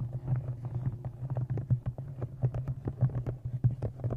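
Fingernails tap rapidly along the top edge of a thick brown embossed leather journal with an inset blue stone and a metal clasp, held close in front of a microphone. The result is a quick, uneven series of soft, dull taps with a low, muffled body and almost no brightness. Each tap dies away almost at once.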